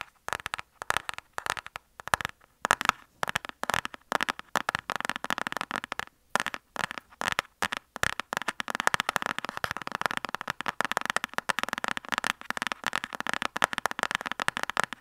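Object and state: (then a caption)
Cardboard lipstick box tapped with fingernails. Fingernails of both hands tap rapidly on a flat, rectangular printed cardboard lipstick palette box held upright. The result is a dense stream of dry, crisp clicks with no ring and almost no low end, bright around the midrange, starting sparse and growing busier and more continuous toward the end.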